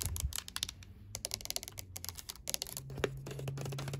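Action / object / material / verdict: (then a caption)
tap / hard plastic game controller / plastic / none. Long glittery acrylic nails rapidly tap and scratch the touchpad and buttons of a hand-sized, hollow, white and black PS5 DualSense controller with a hard plastic shell lying on wrapping paper. The result is a quick run of short, bright plastic clicks mixed with faint scratching over a low background hum.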